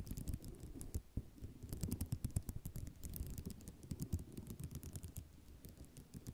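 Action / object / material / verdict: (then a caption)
scrape / ceramic mosaic tile sheet / ceramic / none. Fingernails drag across the rows of a flat sheet of small white square ceramic mosaic tiles resting on cloth. The result is a dense, quiet run of short scratching clicks and rattles with a low, soft body and brief bright ticks.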